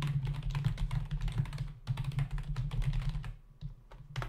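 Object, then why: Plastic computer keyboard. Fingertips of both hands type rapidly on a full-size black plastic membrane keyboard with hollow keys resting on a dark desk. Quick, irregular, clattery key taps sound over a steady low hum, with a brief pause near the middle and softer, sparser taps toward the end before a final burst.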